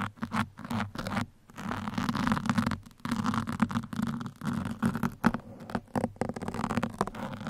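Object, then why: Foam microphone windscreen scratched with metal pins. Two metal pins held in the fingertips scratch the sides of a black foam microphone windscreen, giving a dense, uneven run of rough, muffled scraping and patting. The texture sits mostly in the low mids with little high-end content, broken by a few brief pauses.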